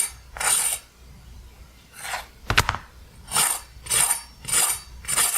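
A pan-fried soy flatbread, cooked golden brown on both sides and fresh out of the pan, is tapped seven times on a cutting board to test how crispy it is. Each tap makes a short, dry, bright rustling crunch, and one tap is a sharper click. The flatbread sounds good and very crunchy.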